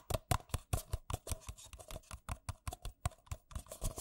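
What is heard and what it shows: Fingertips and nails tap fast on two identical empty white paper coffee cups, hollow and thin-walled. Around two dozen quick, dry hollow taps come in a steady, rapid rhythm, each with a low thump and a brief bright click that dies away almost at once.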